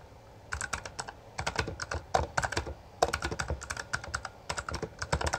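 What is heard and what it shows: Both hands type continuously with their fingertips on a full-size black plastic Bloody B820R mechanical gaming keyboard with backlit keycaps and a hollow housing, pressing and striking the keys. After a brief quiet start, rapid bursts of sharp, bright clacks ride over a hollow low thud, each keystroke dying away almost instantly. The bursts are broken by short pauses between runs of typing.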